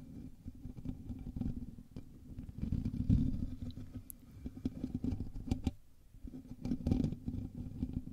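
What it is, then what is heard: Metal mesh microphone grille being scratched. Both hands scratch the hollow, domed metal mesh grille of a black USB condenser microphone with fingertips and short nails, close to the capsule. The result is a dense, bass-heavy rumbling scrape with scattered sharp ticks and clicks. It swells loudest around the three- and seven-second marks and briefly thins out near six seconds.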